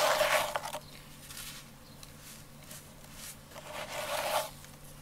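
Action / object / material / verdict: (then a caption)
scrape / sand in a container / sand / none. Both hands scoop, rub and crumble dry yellow sand and small clumps inside a round container on the floor, with grains falling between the fingers. A loud, bright, crisp gritty crackle opens the clip, softer sandy rustling follows, and a second strong crunching burst swells near the end.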